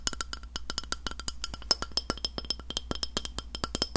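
Long nails knock and tap the face of a round, flat, solid white glass plate held in front of the mic. The result is a quick, irregular run of sharp, dry clicks with bright, glassy overtones that die away almost at once, over a faint steady low hum.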